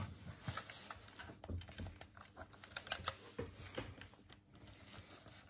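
Fingertips and thumbs press and click the colored face buttons and D-pad of a hand-sized, hollow, white plastic Sega Dreamcast game controller held in both hands. The result is a quiet, rapid series of short, dry plastic clicks and taps with a hollow low thump, bright clicky edges and almost no ring.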